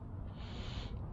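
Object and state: Nothing is struck.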